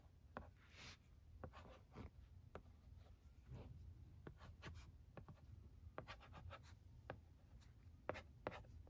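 A stylus held in the fingers scratches across the screen of a flat plastic LCD writing tablet while writing letters. Quiet, short, dry ticks and scratchy strokes sound over a low, steady background hum.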